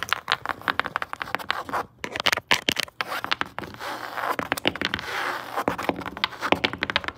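Long acrylic nails with metal charms tap and scratch rapidly on grey woven fabric upholstery stretched over a flat padded surface. Quick, dry taps mix with bright, hissing scratches that have almost no low end, and brief pauses break up the bursts. Each hit dies away almost instantly.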